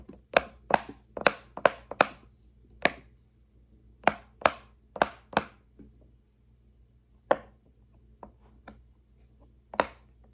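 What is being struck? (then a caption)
Silicone push-pop fidget toy. An index fingertip presses single hollow bubbles on a large square rainbow silicone pop-it fidget toy resting on a wooden table. Twelve short, dry pops with a bright snap, unevenly spaced and mostly in a quick run early on, with two fainter taps near the end. A faint steady low hum sits beneath.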